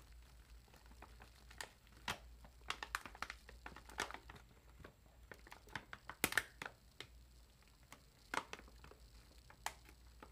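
A large party-size Zapp's potato chip bag of foil-lined plastic film, puffed with air and holding chips, is held in both hands while long acrylic nails press and crinkle the film. Slow, sharp crinkles and crackles come in scattered bursts over a low steady hum, with bright snaps that die away almost instantly.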